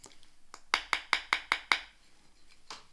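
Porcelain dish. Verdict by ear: Sound.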